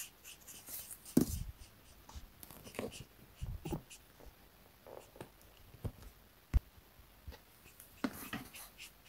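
A black felt-tip marker held in the fingers rubs and strokes across a thin, flat printed paper coloring sheet lying on a desk mat while coloring. Quiet, soft scratchy strokes come in short bursts, with a few louder sharp taps and brief bright swishes among them.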